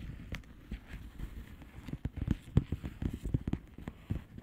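Long fingernails on both hands tap and scratch a flat blue plastic bubble wrap padded envelope with air-filled bubbles. The result is a steady run of soft, dull, muffled taps and light scratchy rustles that stay low in pitch and stop almost at once, with almost no bright content.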